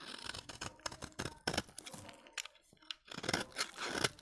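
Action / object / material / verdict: scrape / bar soap cut with a blade / soap / none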